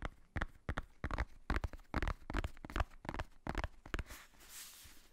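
A black faux-leather cover of a hardcover notebook, held upright close to the microphone, is tapped with the fingertips in a quick, uneven run of dull, low, thudding taps. Near the end the tapping gives way to a soft, bright scratching as the nails rub across the cover.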